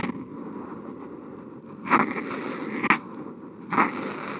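The felt tip of a Posca paint marker is drawn in continuous wavy strokes across a flat sheet of white Kent paper, picked up by a contact mic on the marker. A steady, dry scratchy hiss runs throughout, broken by a few louder, brighter scraping bursts as the strokes press or change direction.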